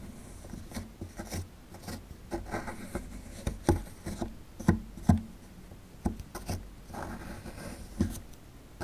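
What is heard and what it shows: A metal pick scratches and chips inside a hollowed-out area of a solid plaster fossil dig block, with crumbs falling. Soft, irregular scraping runs throughout, broken by sharp, dry clicks with low thuds. Each hit dies away almost at once.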